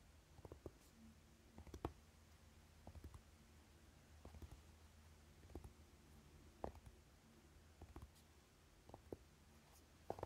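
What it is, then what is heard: Velvet-covered eyeshadow palette case. A closed, flat rectangular Urban Decay Naked eyeshadow palette with a dark velvety fabric cover and gold lettering, lying on purple fabric, is tapped and scratched with the short fingernails of both hands. Quiet, soft, muffled taps and faint scratches come at irregular intervals over a low, steady hum. Each tap dies away almost at once.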